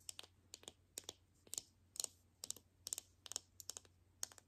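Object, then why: Plastic toy capsule ball in film wrapper. A palm-sized hollow plastic toy capsule ball (Mini Brands) in a printed teal film wrapper is held in both hands and tapped with long nails. Quick, bright clicks come in small irregular clusters, each dying away almost instantly. The sound is quiet, with a faint low hum underneath.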